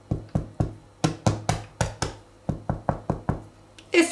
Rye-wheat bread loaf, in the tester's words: bei dem Brot einen Klopftest machen. Es klingt gut.